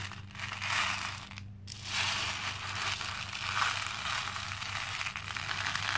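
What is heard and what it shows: Hands rub across and scoop through a pink plastic bowl full of small cream plastic faux pearl beads, making a dense, bright, continuous rattling crunch as the beads clink together. The sound briefly drops away around the middle before the scooping resumes, over a faint steady low hum.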